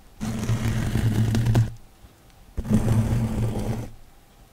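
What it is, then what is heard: Foam kitchen sponge with scouring pad. A hand-sized, soft, rectangular kitchen sponge of yellow foam with a green abrasive scouring layer is held in one hand beside the microphone and scratched or squeezed with the fingertips. Two dense bursts of low, rough rubbing and crackling are heard, each lasting over a second with a steady low hum under them. A quiet pause separates the bursts.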